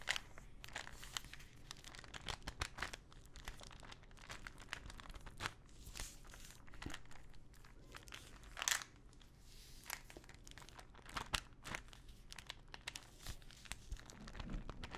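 Long nails tap and scratch the body and label of a small clear plastic ibuprofen bottle full of pills with a teal cap. Quiet, crinkly scratching runs throughout, broken by sharp, bright taps with a brief papery rasp, and the pills faintly rattle inside.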